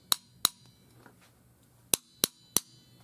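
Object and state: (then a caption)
Expansion tank water side, full and working. A screwdriver knocks five times on the water-filled side of a metal expansion tank for a water heater, two taps then a pause and three more. Each tap is a short, sharp, bright click that dies away almost at once with no ringing, the deadened sound of a tank that works properly.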